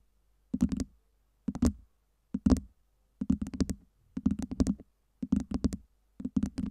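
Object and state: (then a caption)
Stack of acrylic LED ice cubes. Long nails tap the side faces of a tower of small, solid, acrylic LED light-up ice cubes. Seven separate bursts of quick, dry, clicky taps are heard, with a hollow low-mid knock under each tap and almost no ring after it.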